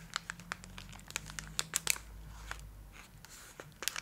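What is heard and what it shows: A full Twix bar in its gold metallic foil wrapper is held close and scratched with long acrylic nails, crinkling the wrapper. Sharp, bright crackles and ticks come in quick irregular bursts over a faint low hum, with a few louder snaps near the middle and end.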